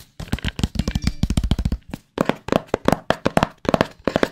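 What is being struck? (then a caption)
Small cardboard box. Fingertips tap and scratch a small, hollow, white cardboard AirPods Pro box held close to the mic. A rapid, continuous run of dry, hollow, low-mid taps with a slight scratchy edge pauses briefly, then resumes as slower, more separated knocks. Each tap dies away almost instantly.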